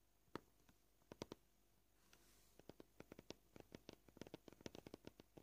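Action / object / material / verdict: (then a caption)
tap / plastic cutting board / plastic / none. Short purple-polished fingernails tap close-up on a flat, solid white plastic cutting board. A few sparse, crisp clicks come first, then a brief quiet pause with faint hiss. A quicker, uneven run of dry taps follows, each stopping dead with no ring.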